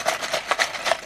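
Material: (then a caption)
Cardboard. A sealed Blokees cardboard blind box with a plastic model kit inside is shaken, giving three dull, muffled rattling bursts with no low end. The contents sound dense and tightly packed, and the box turns out to hold the dragon figure.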